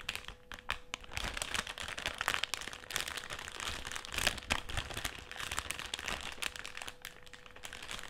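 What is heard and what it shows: Fingertips and nails scratch and rub the surface of a partly full black metallised, foil-lined plastic crisp packet lying flat on a table. The result is continuous bright, dense crinkling and crackling with quick sharp bursts, over a faint steady tone.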